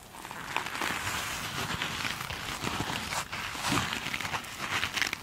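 Long acrylic nail tips tap and scratch the glitter-textured face of one small, soft foam sponge. The result is a steady, bright, crinkly rasp with short crackling taps scattered throughout and very little low end.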